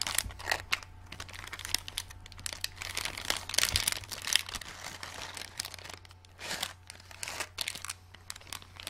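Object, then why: Thin clear plastic packet holding small plastic stars. A small, flat, clear plastic packet with a printed card, full of pale green plastic glow-in-the-dark stars, is held in both hands and squeezed and crinkled with fingertips and long dark-painted nails. The result is dense, bright, dry crinkling and crackling in uneven bursts, over a faint steady low hum.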